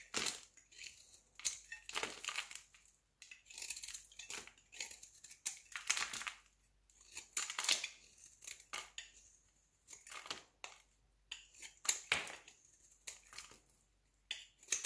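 A solid square red bar of soap held in the hand is shaved into flakes with a utility knife blade. Quick, dry scraping strokes follow one another in irregular bursts, each a bright, crisp rasp with almost no low end that cuts off sharply.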